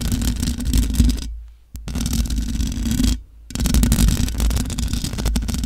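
Long nails scratch the hollow metal mesh grille of a large black microphone, producing a dense, rough scraping noise with a heavy low rumble. The scratching runs almost continuously, dropping out for two brief near-silent pauses before resuming.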